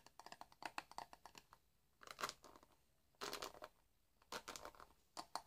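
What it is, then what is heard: Plastic hairbrush bristles scratched. A hand-sized black plastic paddle hairbrush with dense bristles is held in the hands while fingertips run and scratch across the bristles. The result is quiet, bright clicking and crackling ticks, with a few longer rasping sweeps between pauses.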